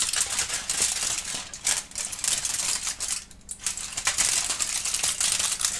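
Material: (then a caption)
Aluminum foil. A thin, crumpled sheet of aluminum foil is held in both hands, crinkled and scrunched with the fingers and lifted up while a kitten watches without touching it. The clip is a dense, continuous stream of bright, crackly rustling with sharp high-pitched snaps. It briefly quiets about halfway through before the crinkling picks up again.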